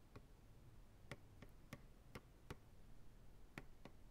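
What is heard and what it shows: Fingertips tap slowly and rhythmically on the sides of a large, empty, hollow white plastic ice cream pail turned upside down. Each tap is a short, dry, hollow tick with a low body near 140 Hz and a brief bright edge, dying away almost at once against quiet background hiss.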